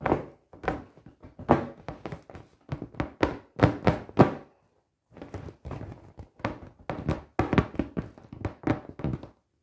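Long painted nails and fingertips tap and knock on the taut surface of a fully inflated, hollow 48-inch clear PVC beach ball with colored dots. The result is a quick, uneven run of dull, hollow thunks, low and muffled with almost no ring, pausing briefly midway before resuming.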